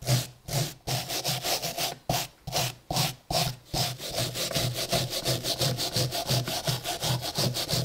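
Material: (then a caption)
Iron. A gloved hand scrubs a small, solid, rusty iron hammer head lying on a wooden block with a red-handled steel wire brush, raising rust dust. Rough, bright rasping strokes repeat back and forth, each with a low scraping thud, starting as separate slower passes and then speeding up into a quick, steady scrubbing rhythm.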